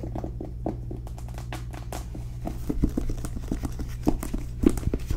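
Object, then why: Cloth-bound hardcover book tapped with fingernails. Long nails tap rapidly on the cover of a solid, blue cloth-bound hardcover book with gold lettering, making short, dull, muffled ticks that die away almost at once. A steady low hum runs underneath, and a few taps stand out louder than the rest.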